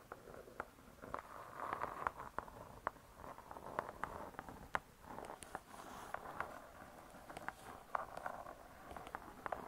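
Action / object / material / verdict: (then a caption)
tap / laminated hardcover book cover / laminated board / none. Long stiletto nails scratch and tap the laminated board cover of a closed spiral-bound hardcover cookbook. A soft, continuous scratching texture centered in the midrange is broken by many sharp, quickly decaying clicky taps scattered throughout.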